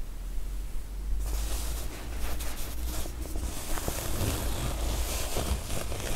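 Long nails tap and scratch the top and sides of a pink woven-fabric cosmetic case with a faux-leather handle, zipped and padded. After a quiet first second, brisk, irregular scratching and soft tapping go on with a low steady rumble beneath them.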